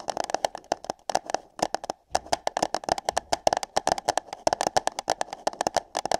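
Long nails tap and scratch on hollow light-blue paper cups placed over the ears of a binaural microphone. Quick, irregular clicky taps carry a hollow mid tone around 650 Hz with bright, crisp edges, broken by brief pauses near the one- and two-second marks. Each tap dies away almost instantly.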